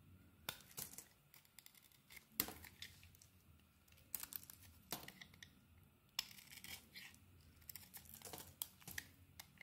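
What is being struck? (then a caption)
Bar of soap. A metal blade shaves curls off a white soap bar with a neon-green coating. Crisp, dry scraping strokes come in short, bright bursts with quiet, faint rustling in between, each stroke stopping almost at once with no ring.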